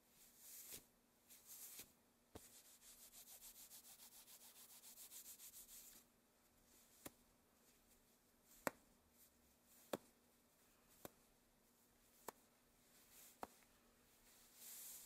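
Long black satin gloves of thin fabric, worn on both hands, make soft swishes as the fists clench, then a steady bright rubbing hiss as one hand rubs along the other glove. This is followed by a quiet stretch broken by short, sharp fabric clicks, before a final swish at the end.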